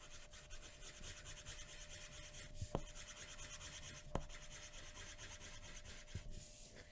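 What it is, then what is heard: Paper drawing sheet. A pencil tip scratches and rubs across a flat white paper sheet resting on a wooden table in shading strokes. A steady, dry rasping scratch runs throughout, broken by a few brief, sharp ticks where the tip catches the paper.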